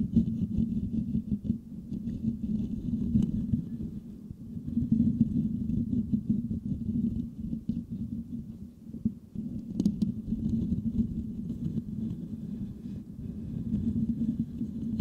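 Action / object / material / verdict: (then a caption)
scrape / metal mesh microphone grille / metal mesh / none. Fingertips of both hands scratch and tap the hollow, silver metal mesh head of a microphone. The result is a dense, continuous scratchy rumble that is low and muffled, with steady crackling texture, slight swells in loudness, and one sharper tap near the ten-second mark.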